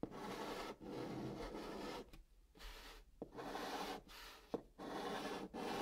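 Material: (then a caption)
Cardboard. A hand writes "Good" in white chalk on the top of a flat brown kraft cardboard box. Long, dry scratching strokes rasp across the surface, separated by short quiet pauses. Two sharp little taps mark where the chalk lands to start new strokes.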